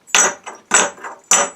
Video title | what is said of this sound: Damascus Cleaver | have a good sound sounds like metal